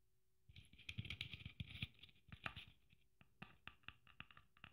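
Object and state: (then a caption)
Sequin-covered Christmas ornament. Long nails tap and scratch the sequins covering a red Christmas ornament trimmed with gold braid. After a quiet half-second, a dense run of bright clicks and rustling scratches builds, then thins into separate crisp taps with a bright band around 2–3 kHz and a soft low thump beneath each.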